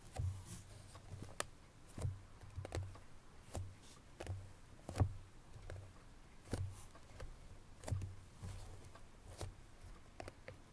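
Long pink natural nails tap across the lid of a small cardboard Chloé perfume box with spread fingers. The result is soft, irregular clicks over low, hollow thumps that die away almost at once.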